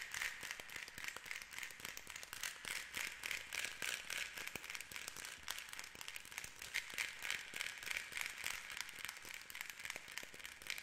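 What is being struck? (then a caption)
Wooden rainstick end cap. A fingernail rapidly taps and scratches the flat, textured light-wood end cap of a painted, hollow rainstick tube filled with beads and held horizontally. The result is a quiet, steady stream of dry, bright clicks and scratchy crackles centered around 2 kHz, with little low end and almost no ring after each tap.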